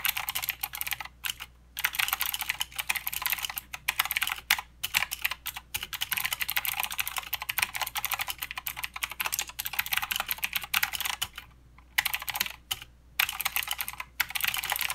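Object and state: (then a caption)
Plastic mechanical keyboard. A mechanical keyboard with plastic keycaps and blue switches is typed on with the fingertips of both hands. It makes a rapid, steady stream of sharp, bright clicks with almost no low end, broken by a few brief pauses.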